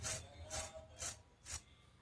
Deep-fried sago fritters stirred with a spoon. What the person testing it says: चमचा फिरवले की चांगला कुरकुरीत आवाज येतो